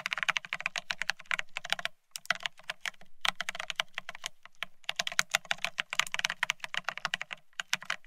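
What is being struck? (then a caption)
Plastic split ergonomic keyboard. Fingertips of both hands type fast on a full-size beige split ergonomic keyboard with plastic keycaps. Rapid, bright, clicky taps come in quick bursts, each dying away almost instantly, with brief pauses around the second and third seconds before the typing resumes.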